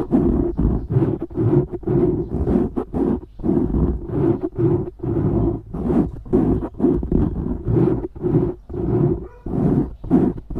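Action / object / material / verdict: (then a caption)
scrape / foam microphone windscreen / foam / none. Fast fingernail scratching on a black foam windscreen over a microphone makes a run of short, rough, low-heavy rasping strokes. The strokes come in quick irregular bursts, with most of the sound low and little above the midrange.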